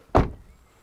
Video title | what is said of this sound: BYD HAN - Let's test REAL range, acceleration and noise | very good door closing sound